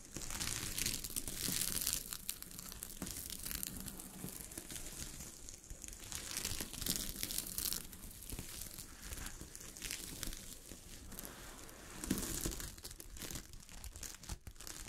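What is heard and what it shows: Long fingernails scratch and brush across a sheet of fabric covered with small gold sequins. The result is a dense, continuous crinkling rustle, bright and hissy, with a low rumble underneath. It swells louder in places, including a stronger burst near the end.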